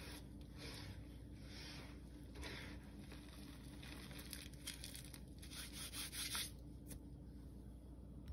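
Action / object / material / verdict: scrape / pile of crushed gym chalk powder rubbed by hand / chalk / none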